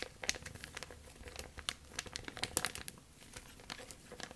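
A thin, clear plastic bag is stretched taut, then twisted and rolled between both hands with long nails. It makes dense, bright crinkling with sharp crackles scattered through soft, steady rustling. The crackles are quick and dry, with almost no low end.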